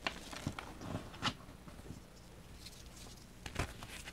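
Small solid pink and blue-white balls of reformed gym chalk, held over a pile of chalk powder, are squeezed and crumbled by fingertips with short painted nails. Soft, dry crackles and gritty crunches come in scattered bursts, with a few sharper, brighter snaps near the start and end over a faint low rustle.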